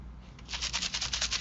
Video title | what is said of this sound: YT Anniversary Challenge Giveaway - Cara Mia's Corner #caramiascornervr | it's just some little seed beads in there to make the noise